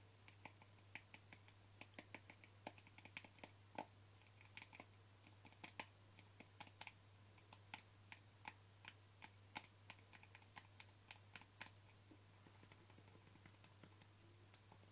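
Short fingernails tap the lid and side of a small white plastic cream jar with a barcode label, making a steady run of quick, dry clicks with a bright edge and almost no ring. The taps are quiet and irregularly spaced over a constant low hum.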